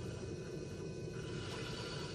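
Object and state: Nothing is struck.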